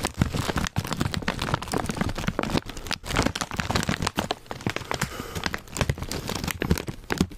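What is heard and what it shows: A full, foil-lined plastic Zapp's potato chip bag is held close while fingertips tap, scratch and crinkle it. The result is a dense, continuous run of crisp crackles and sharp taps with a bright, hissy edge over soft low thumps, with no pauses longer than a moment.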